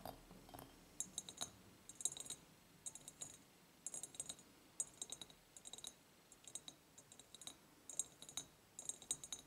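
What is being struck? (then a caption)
Ribbed clear glass jar with ceramic lid. An empty ribbed clear glass jar with a ceramic lid is tapped and scratched on its glass sides with long nails. Quick, bright clicks and ticks come in clustered bursts with a sharp high ring that fades almost instantly. Faint scraping fills the gaps between them.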